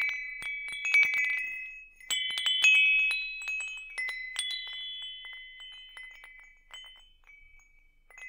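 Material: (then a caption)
Metal. A hanging wind chime with hollow metal tubes is held in one hand while the fingertips of the other hand tap the tubes. Bright, overlapping metallic tones ring out around 2.5 kHz in irregular bursts, each note sustaining and slowly fading between taps.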